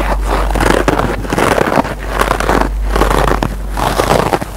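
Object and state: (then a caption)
Scrub sponge with nylon scour pad. A single kitchen scrub sponge, a green nylon abrasive scour pad layered on yellow foam, is scratched by fingertips and short nails. Dense, rough scratching comes in several swelling bursts with a steady low hum underneath.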